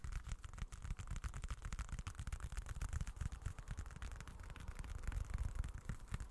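A small, dark, folded leather wallet with a textured surface is held in both hands close to the mic and scratched and tapped with short fingertips. The result is a rapid, irregular stream of soft, dull taps and scratchy rustles, heavy in low thuds with very short decay and little brightness.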